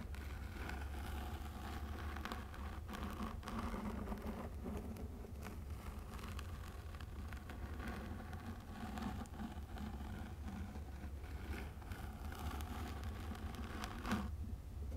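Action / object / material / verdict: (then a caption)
scrape / fabric-covered box / fabric / none. A hollow floral fabric-covered box with a lid is held in both hands close to the microphone while long nails scratch and tap its bottom and sides. Soft, dry scratching and light taps sit over a steady low hum throughout, with a slightly sharper tap near the end.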